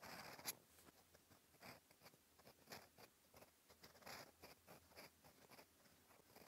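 A steel fountain pen nib scratches across a flat cream lined paper notebook page, writing orange characters. Quiet, dry scratching strokes come in short bursts with a thin, bright hiss, with a slightly sharper tick near the start.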